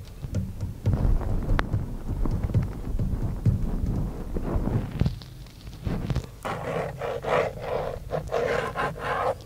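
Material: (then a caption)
Plastic. Fingertips tap and scratch the hollow, moulded airbag cover at the centre of a Dodge van steering wheel, made of textured black plastic with a chrome emblem. Dull, low, hollow taps come first, then brighter, rasping scratches across the pad and the emblem in the second half.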